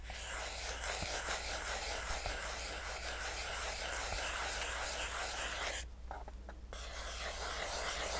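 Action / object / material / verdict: scrape / small cardboard box / cardboard / none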